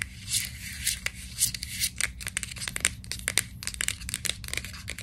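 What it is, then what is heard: Plastic vitamin bottle. Long nails scratch and tap on the label of a white plastic vitamin capsule bottle gripped in both hands. Dry, bright scraping rasps mix with quick, sharp ticks over a faint steady low hum.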